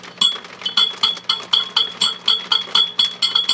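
Gentle taps on the metal shield of a 6CB6 vacuum tube in an HP 400H voltmeter come through the circuit as a steady run of bright, glassy clinks with a ringing tone near 3.4 kHz, over a faint low hum. Each clink dies away quickly, and the tapping shows the tube is microphonic.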